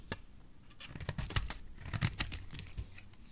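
A metal blade scrapes a solid, oval, bright green bar of dry soap. It makes a quick series of short, dry, crisp scratches and crumbly flakes, bright and brittle with a soft low thud underneath. Each stroke stops almost at once.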